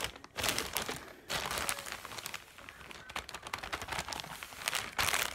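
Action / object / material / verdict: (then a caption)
scrape / plastic mailer bag / plastic / none. An apparently empty yellow plastic mailer bag lies flat on a lap and is scratched and crinkled with the long nails and fingertips of both hands. The result is a dense, bright crinkling and scratching, with louder bursts of rustle near the start, middle and end.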